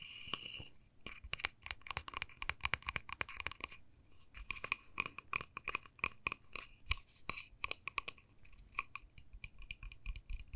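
A small, solid white-painted wooden dollhouse door with a pink panel and a tiny knob is held in the hand and tapped and scratched with long nails. The result is a rapid, uneven run of sharp, dry, bright clicks and scrapes with almost no ring, broken by brief pauses near 1 and 4 seconds.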